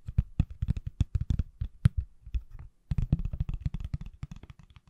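A pale green, hand-sized, solid silicone/plastic case on an iPhone is held flat and sideways behind the mic and tapped with fingertips and nails. Quick, irregular taps sound as dull, low, dry thuds with very short decay, with a brief pause partway through before the tapping resumes.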